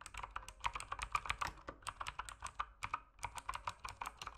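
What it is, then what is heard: Plastic mechanical keyboard. An RGB mechanical keyboard with plastic keycaps is typed on rapidly with fingertips. A fast, steady run of sharp, clacky keystrokes, centered around 1.2 kHz with bright upper edges, each dies away almost instantly. A brief pause comes near the three-second mark before the typing resumes.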